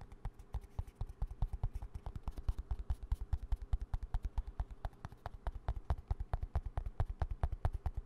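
A small green plastic hand cream squeeze tube, held at an angle, is tapped quickly on its body with fingertips and nails. The rapid, slightly uneven taps make dull, low, hollow thumps, with sharp bright clicks from the nails, and each tap dies away almost at once.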